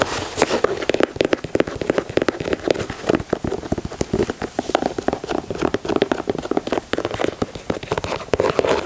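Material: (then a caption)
Leather. Fingertips with short nails rapidly tap and scratch along the side panels, overlays and white laces of a hollow, empty white high-top sneaker (Air Jordan 4 style) with a leather upper, mesh panels and grey speckled plastic/rubber overlays, held in the hands. A dense, continuous stream of crisp, dry clicks and scratchy rustles centers in the low-mids, with bright, sharp edges. Each tap dies away almost instantly.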